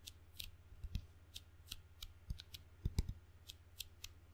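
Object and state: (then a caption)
Rubber-faced wooden ping pong paddle. Fingertips pat the sticky red and black rubber faces of a wooden table tennis paddle, giving a run of quick, short taps with bright crackly tops and dull low thumps. The pats are uneven in strength, a few landing heavier, over a steady low hum.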